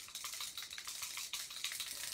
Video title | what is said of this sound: Silhouette Sunrise Card | you just need to keep shaking it and eventually uh the ball bearing will start doing its business